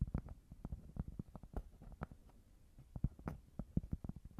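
Fingers tap on a cork board in a quick, irregular series of soft knocks. Each tap is a dull, muffled, low thud that dies away at once with no ring.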